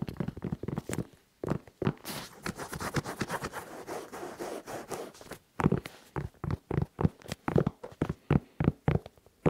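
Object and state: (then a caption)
Suede and rubber sneaker. Fingertips tap and scratch the rubber sole and the suede side of an empty tan and red sneaker held at chest height. Quick, dry, muffled taps with almost no ring lead into a stretch of steady, rasping scratches. The clip ends with sharper, evenly spaced taps.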